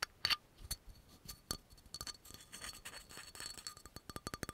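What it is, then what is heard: Glass bottle, tapped and scratched. Fingernails quickly tap and scratch the black cap and glass shoulder of a dark brown amber glass oil bottle with a yellow label. The sound is a run of sharp, bright clicks and brief scratchy rubs, each tap carrying a faint high glassy ring that dies away almost at once.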